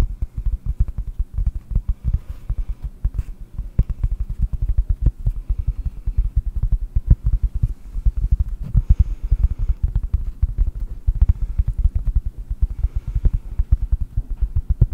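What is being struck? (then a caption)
Cork. A piece of cork is tapped rapidly and continuously, making a dense stream of short, dull, low thuds. Each tap dies away almost instantly, leaving a steady, loud, pattering rhythm.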